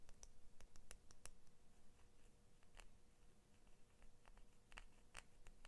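A small pair of Crayola scissors with orange and blue plastic handles and a steel blade is held in both hands while long manicured nails tap and scratch the blade and handles. Quiet, irregular, sharp clicks and brief bright scratches rise over a low, steady rumble and a faint constant hum.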